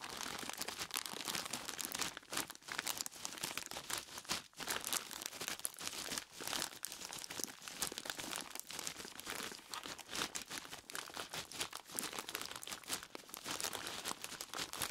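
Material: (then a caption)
Plastic, ice. Fingers squeeze and rub a large clear plastic bag full of ice cubes, and at the end one flat hand rubs across its front. The result is a dense, continuous bright crinkling and crunching of plastic and shifting ice, with almost no low end and a few brief pauses.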